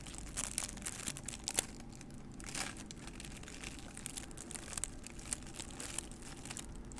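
Long nails scratch and tap the sides of a small, hollow, empty white paper cup held in both hands in front of the microphone. The result is a quiet, steady crinkling and scratching texture, broken by sharp, bright taps that stop almost instantly.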